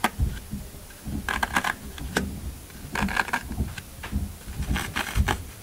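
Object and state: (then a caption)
Floral foam block being crushed. Fingertips of both hands press into the top of a solid green floral foam brick resting on a table, leaving rows of dents. Each press gives a short, dry crunch with a bright, crisp crackle over a soft low thud, coming in quick irregular clusters between quieter pauses.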